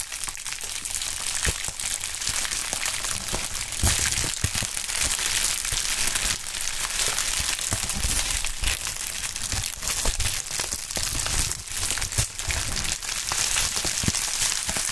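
A pink polyethylene bubble wrap sheet with a label and air-filled bubbles is crumpled and squeezed between the fingertips of gloved hands. Dense, bright crinkling continues steadily throughout, broken by frequent short, sharp crackles and snaps.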